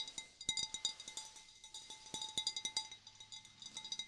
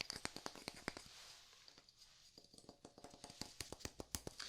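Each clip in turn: First: Quick, light taps on a glass vase give bright, high pitched pings over a steady glassy hum. Second: Quick, dry wooden ticks, tapped in bursts that speed up and slow down, each dying at once.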